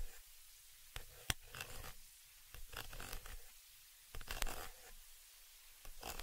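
A thin dark pointed tool scratches and rubs across the round, hollow metal mesh grille on the upper capsule of a small stereo microphone. Bursts of dry, bright scraping alternate with quiet pauses, broken by a couple of sharp ticks. A heavy low rumble sits under every stroke.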